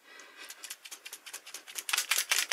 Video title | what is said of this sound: HAUL LIDL : MIXED MEDIA - SCRAPBOOKING Février 2019 | il faut bien les secouer vous avez vu là hop si on les secoue pas vous entendez la petite bille